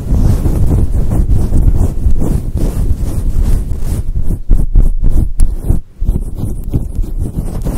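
Long pointed acrylic nails scratch a fluffy grey faux fur microphone windscreen with both hands. The result is a continuous deep, muffled rumbling and rustling, with almost no high sound, that briefly thins into short gaps near the end before the steady scratching resumes.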